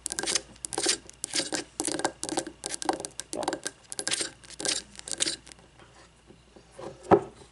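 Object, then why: Wax-filled frosted glass candle jar with paper label. Long fingernails scratch and tap on a frosted glass candle jar filled with wax, working over both the glass and its paper label. Short, bright, raspy scratching bursts repeat in a steady rhythm for about five seconds, then soften. A single sharp, dry tap comes near the end.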